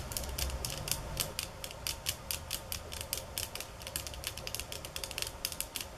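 Long fingernails tap on bamboo sticks in quick, uneven bursts, shifting between softer, slower taps and faster, harder ones. Each tap is a short, dry, bright click that dies away almost at once, over a faint low rumble.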